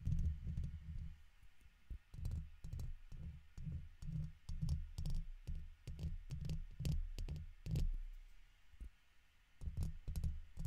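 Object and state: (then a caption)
Metal mesh microphone grille scratched with a pick. A red plastic guitar pick held in the fingertips scratches across the top of the hollow woven metal mesh dome grille of a large silver condenser microphone. Irregular, rapid bursts of deep, boomy rumbling thuds are heard, each topped with brief bright scratchy clicks, with short pauses between strokes.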